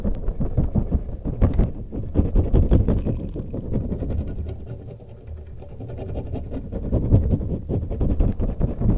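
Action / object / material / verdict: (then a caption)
scrape / soft rubber spiky stretch toy / rubber / none. A long neon-green soft rubber toy covered in spikes is held in both hands close to a microphone and stretched and squeezed with the fingers. It makes a dense run of short, low, muffled rubbery scrapes and crackles, easing off to a quieter stretch midway before the squeezing builds back up.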